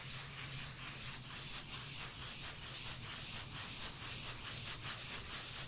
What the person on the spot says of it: beautiful bass sounds of tapping & scratching a cork lid